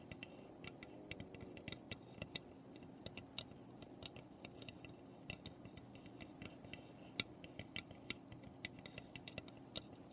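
Long painted nails tap rapidly on the roof and front of a small, hollow, unfinished birdhouse made of light pine. Quick, dry, bright clicks come in an uneven, steady stream, with a few sharper accents, over a soft, continuous low background.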